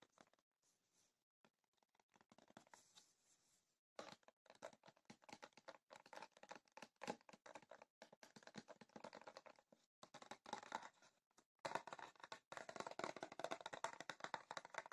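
A rectangular printed cardboard tea box rests on paper, then is lifted and tapped with long fingernails. Sparse, soft clicks in the first few seconds give way after about four seconds to dense, rapid, dry tapping with a hollow papery tone and almost no low end. The tapping continues quietly to the end, with a brief pause just before twelve seconds.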